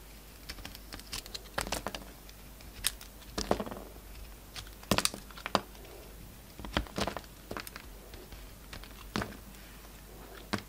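A utility knife blade carves slices off a solid oval bar of soap with a red coating and a peach core, held in the hand. Crisp, dry scraping cuts and short crackles come in quick irregular bursts over a quiet background, each sharp, bright and fading almost at once.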